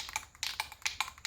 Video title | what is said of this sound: Worksman Adult Two Seat Tricycle Disassemble and Repaint | shake the can until the ball quits rattling